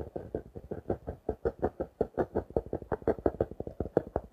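Fingertips and nails tap and scratch the clear plastic wrap on the front of a small, closed blue and orange paper notebook held up in the air. About 28 quick, dry taps follow one another at an uneven pace, each a short, mid-pitched knock with a crinkly plastic edge and almost no ring.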